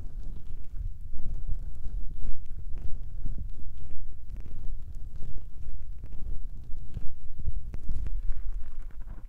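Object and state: Foam microphone windscreens being tapped and rubbed.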